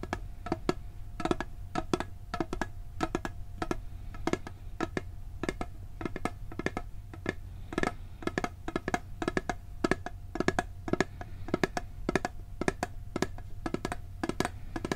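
Fingertips tap quickly and unevenly on the lid and side of a round, hollow blue steel cookie tin held close to the microphone. Each tap is a short, dry, hollow knock with a faint tone around 370 Hz. A steady low hum sits underneath throughout.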